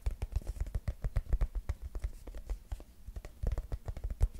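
Fingertips and nails rapidly tap and scratch the body of a mint-green soft plastic cosmetic squeeze tube held upright and sideways close to the mic. The result is a quick, uneven run of dull, low, thumpy taps with almost no ring, easing briefly around three seconds before picking up again.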